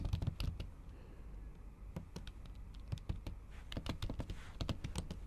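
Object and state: Typing on a laptop keyboard with a silicone cover.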